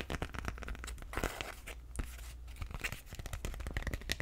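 Fingernails scratch, rub and crinkle the thin plastic of an empty clear PVC/vinyl tote bag with black straps, close to the mic. There is a dense, continuous stream of crisp crackles and scratchy rustles with brief sharp clicks over a low rumble, and the level stays fairly steady throughout.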